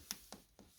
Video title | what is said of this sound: Coal Fire Back Boiler Leak, Part One - 5th February 2023 | That sounds hollow there too, like.